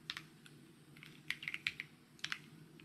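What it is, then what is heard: Plastic mechanical keyboard. Fingertips type on a white mechanical keyboard with plastic keycaps, producing about ten short, bright, clicky taps in irregular bursts with almost no ring. A faint, steady low hum sits beneath the keystrokes.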